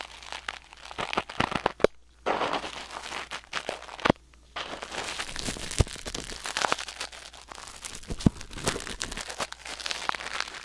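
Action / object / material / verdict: scrape / metal tweezers in a silicone ear / silicone / none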